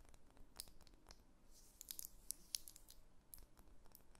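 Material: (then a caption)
Wax. Long fingernails scratch and tap a solid, cylindrical pink wax pillar candle held tilted in the hands. The sound is quiet: soft, dry scratching with short, bright clicking taps that stop at once, over a faint low rumble.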